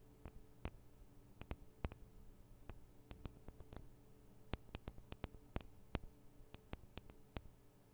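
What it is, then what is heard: Metal microphone capsules tapped with nails. Long nails tap on the sides of the small metal microphone capsules of a Tascam DR-40 recorder, producing around two dozen sharp, dry clicks at an irregular pace. Each tick is brief and bright with almost no ring. The clicks sit over a quiet, steady low hum.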